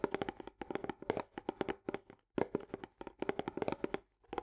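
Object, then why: Paperboard tube canister with plastic lid. A hand holds an Orzo Bimbo barley canister, a medium paperboard tube with a green plastic lid, while the long nails of the other hand rapidly tap and scratch the top edge and lid rim. The result is quick bursts of dry, hollow clicks with a mid-pitched resonance, separated by brief pauses, each tap dying away almost instantly.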